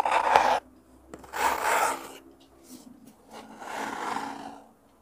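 Fingertips and nails scratch and rub the surface of a small, hollow, rectangular brown kraft cardboard box held in both hands close to a mini mic. The scratching comes in several separate bursts of raspy, papery friction, centered in the midrange with a bright hiss. The loudest burst is at the start, and softer passes follow with quiet gaps between them.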